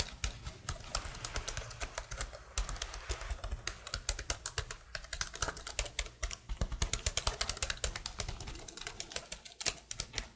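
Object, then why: Plastic laptop keyboard. Fingertips with long blue nails type rapidly on a detached black plastic laptop keyboard held close to a microphone. A fast, steady stream of sharp, bright plastic clicks and taps, each dying away almost instantly, plays over a faint low hum.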